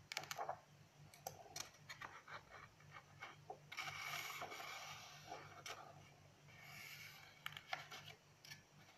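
Pages of an open lined paper notebook are flipped and rustled by hand while long nails rest on and scratch across the paper. Quick, bright ticks and crackles come at an irregular pace, with longer papery rustling swells in between, all quiet over a faint low hum.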